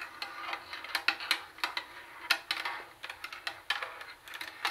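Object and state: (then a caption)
Plastic boombox CD lid tapped with nails. Long acrylic nails tap rapidly on the flat plastic CD lid of a hollow Sony CFD-101 CD cassette boombox. Many quick, bright, hollow clicks die away almost at once, some hits sharper and louder than others, over a faint steady hiss.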